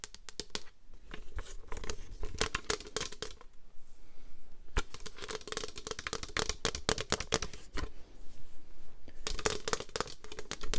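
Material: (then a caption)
Plastic. Long green nails scratch and tap the surface of a white plastic paper trimmer with an orange slider. Quick, dry clicks and scratchy bursts come in dense runs, with brief quieter gaps around the four- and eight-second marks, over a faint steady tone near 440 Hz. Each tap is sharp and dies away almost instantly.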